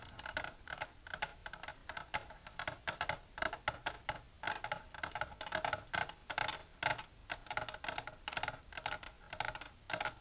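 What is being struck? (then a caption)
Empty plastic tray tapped with fingernails. Long silver nails tap rapidly on the walls of a long, empty, transparent plastic tray with a divider, resting on a table. The taps are quick, light and clicky, with short bright attacks, a hollow plastic ring around 850 Hz and 1.3 kHz, and almost no low end. Each tap decays almost instantly.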